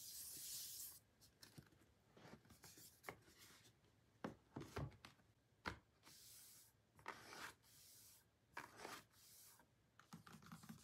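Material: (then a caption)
Cardboard. A pink cardboard album box for BLACKPINK 'THE ALBUM', hollow and lying on a table, is tapped and scratched by short painted nails of both hands, first on its back and then on its closed front. It opens with a bright, hissy scrape, followed by about twenty quiet, dull taps and short raspy scratches that die away almost instantly.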